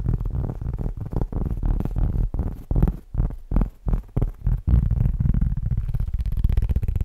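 A round, flat, solid cork board about the size of a plate, held in front of the mic, is tapped and scratched quickly with fingertips and short nails. The result is a rapid run of dull, deep thumps centered near 59 Hz, with almost no high end and each hit dying away fast, blending into a steady low rumbling scratch in the last seconds.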